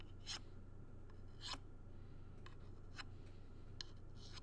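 A thin tool scrapes and traces over the board and metal pieces of a small black-framed shadow box held in the hand. The result is quiet, short, bright scratchy strokes at irregular intervals over a steady low hum.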